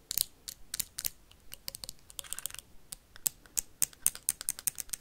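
A clear plastic hand sanitizer bottle with a label and white cap, partly filled, is tapped and scratched quickly with paperclips worn on the fingernails. The result is a rapid, uneven run of sharp, bright clicks and brief scratchy bursts that die away instantly, with little low end.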